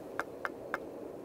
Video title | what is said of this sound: [EP5] 진짜 쉬운 텐트 치는 방법, 텐트 상식, 아웃도어 에듀캠프 | 처음에 밥을 넣고 쌀을 넣고 물을 끓이면 요렇게 맑은 소리가 나죠 근데 밥이 대면 펑 펑 소리가 날까요